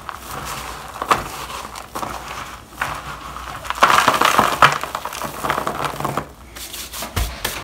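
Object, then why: Bar soap shavings in a plastic bowl. Gloved hands crumble and sprinkle dry shavings of shaved bar soap into a black plastic bowl. A steady, dry, crinkly crackle runs throughout, with scattered sharp ticks and a louder, brighter burst of crumbling near the middle before it settles back to a soft rustle.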